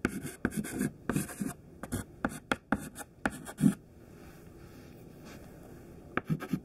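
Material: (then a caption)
Chalk. A thin white classroom chalk stick, held in the fingertips, writes words on a large flat black chalkboard. Quick, dry scratching strokes come in short bursts, followed by a quiet pause of faint hiss and then a few more strokes at the end.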